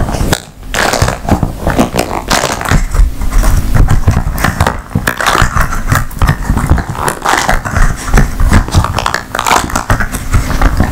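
An empty blue flexible silicone/rubber ice cube tray with 15 hollow cells is bent, twisted and tapped with long nails. The result is a steady stream of dense, low rubbery creaks, squeaks and muffled taps with little high-end brightness, continuing without pause through the clip.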